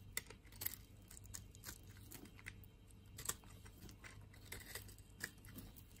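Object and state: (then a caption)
Bar of soap being carved. A palm-sized, solid pink-and-white striped bar of soap, held in the palm, is scraped with a metal blade, shaving off curls and crumbs. Quiet, crisp scraping and crunchy crackles come at an irregular pace, with brief bright clicks over a steady low hum.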